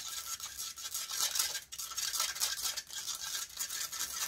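Long nails scratch rapidly across the hollow metal mesh grille of a large silver condenser microphone. The result is a dense, bright, hissing rasp with rhythmic swells and brief dips, almost no low end.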